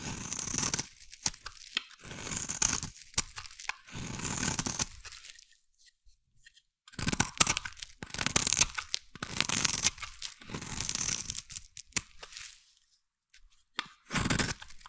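A hand-sized bar of solid, translucent yellow glycerin soap is scraped with a metal blade into fine shavings. The scraping comes as bright, crisp, tearing strokes in bursts, with short quiet gaps between passes.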